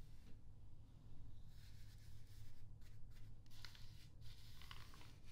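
A soft pink makeup brush is swept across the thin, glossy paper pages of an open Glamour magazine lying flat on a wooden table, and a fingertip presses the page. Quiet, airy brushing and rubbing sounds with brighter rustling bursts rise over a steady low hum. The page is turned at the end.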